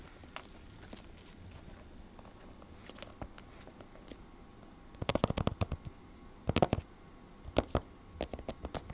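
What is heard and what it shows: A closed large hardcover 3D fairytale picture book with a glossy laminated cardboard cover lies flat on a table and is tapped on the cover with the short fingertips and nails of both hands. Quiet, dry, crackly taps come sparsely at first, then in quick clustered bursts from about the five-second mark onward.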